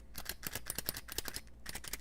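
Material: Metal.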